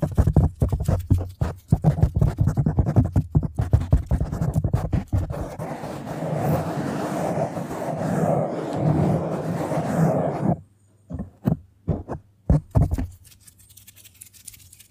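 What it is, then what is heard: Foam microphone windscreen. Long acrylic nails and fingertips of both hands scratch and tap a large black foam windscreen over a hollow microphone body. Quick, deep, muffled scratching and tapping bursts give way to a steady rustling scrub around the middle. The clip closes with a few isolated soft taps separated by near silence.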